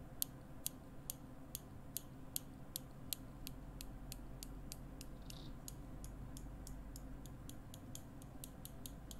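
Small steel tweezers are held by the fingertips close to the microphone, their tips pinched together and released so metal clicks on metal. A steady run of sharp, very short, bright clicks speeds up toward the end, over a constant low hum.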